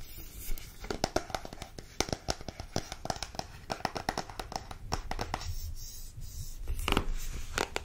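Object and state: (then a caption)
Cardboard card box tapped with nails. Long nails tap and scratch the surface of a small printed cardboard card deck box held close to the microphone. Quick, dry clicks come in a rapid, uneven run, mixed with bright papery scratching and crinkly rubbing. A louder scratching stretch comes near the end.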